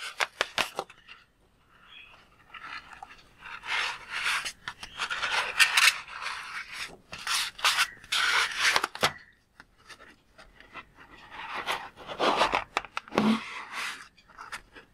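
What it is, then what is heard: Water-filled rubber balloon. A palm-sized red and blue latex balloon filled with water is held in both hands and squeezed and rubbed with the fingertips. Quick taps open the clip, followed by waves of bright, squeaky rubbing and rasping bursts with short quiet gaps between them and no low rumble.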